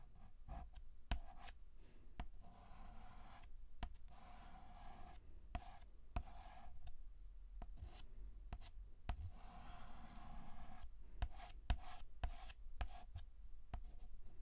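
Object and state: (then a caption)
Chalk scratching on a chalkboard. White chalk held by hand is scratched across a black chalkboard in repeated strokes. Soft, dry rasping bursts with a midrange squeaky tone are broken by sharp little taps and brief pauses. The sound stays quiet and close throughout.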